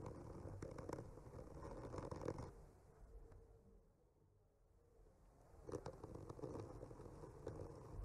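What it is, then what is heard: Wooden panel scratched with a skewer tip. The tip of a bamboo skewer slowly traces and scratches across a solid wood panel painted with trees, making a soft, dry scratching with a low, rumbly texture. The scratching is steady for the first couple of seconds, fades to near silence in the middle, then picks up again toward the end.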